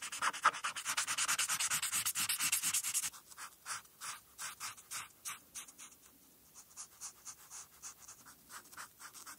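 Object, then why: Felt-tip marker on a paper sheet over a flat board. The felt tip of a white-barrel marker, held in the fingertips, colors a thin printed paper coloring sheet lying on a flat board. For the first three seconds it makes dense, rapid scribbling strokes with a bright, airy scratch. After that the rubbing slows into separate, evenly spaced strokes, each a short hissing swipe.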